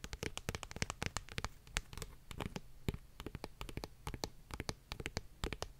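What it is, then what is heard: Paperback book. Long nails tap and scratch the glossy card cover of a paperback book, a solid stack of paper. Rapid, irregular sharp clicks with a bright edge and a soft low thump die away almost instantly, and a faint scratchy rustle fills the gaps between them.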